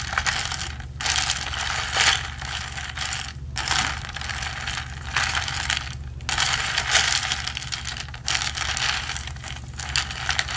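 A ridged plastic straw, held by the fingertips, is slid up and down through the lid of a hollow, medium blue plastic tumbler with a textured wall, rubbing against the opening. It makes a bright, rapid ratcheting scrape in long bursts separated by brief pauses, over a steady low hum.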